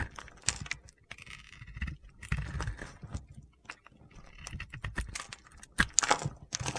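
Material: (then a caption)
Soap. A solid bar of soap, cream with a blue and white decorated top layer, is held in the hand and scraped and carved with a metal box-cutter blade. Irregular crunchy, gritty scrapes and sharp, bright ticks come in bursts as crisp shavings come away.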